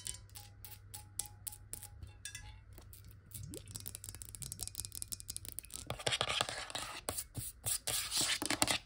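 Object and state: Glass water bottle.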